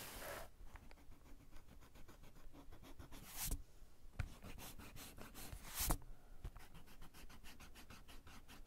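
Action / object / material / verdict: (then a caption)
scrape / paper sketchbook page rubbed with an eraser / paper / none. A small white eraser is rubbed back and forth across a pencil drawing near the bottom of a page in a spiral-bound paper sketchbook lying flat on a cork desk. Quiet, rapid scratchy rubbing strokes repeat steadily throughout, with a few louder, brighter swipes standing out around the middle of the clip.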